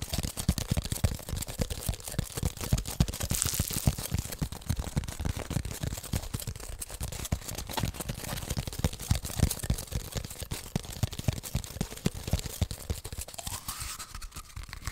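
An empty, hollow brown cardboard toilet paper tube, held sideways, is tapped and scratched with long nails. The result is a fast, irregular stream of dry, hollow taps and scratchy rasps that die away almost instantly. The sound is mostly low-end thump with a faint papery hiss above.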